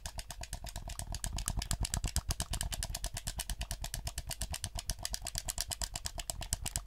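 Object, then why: Plastic game controller buttons and sticks. A black PS4 hollow plastic gamepad is held in both hands while the thumbs rapidly click its buttons and sticks. Around sixty quick, dry plastic clicks and taps come in an uneven, steady stream, each with a bright high edge over a soft low thump.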